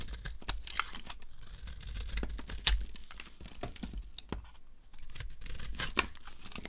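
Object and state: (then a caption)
Dry bar of soap being carved. A solid, opaque yellow oval bar of dry soap is held in the hand and carved with a knife blade, breaking off chunks. The blade makes dry, crisp scraping and crackling sounds, with a rapid series of short, bright snaps as the pieces break away.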